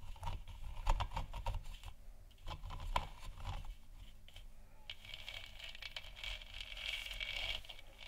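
Long nails tap the sides of a large, hollow, 3D-printed plastic moon lamp sphere, lit white, making quick, soft, hollow clicks with a dull low thump beneath them. Partway through, the tapping gives way to a steadier, brighter scratchy rasp that swells and fades, then thins out near the end.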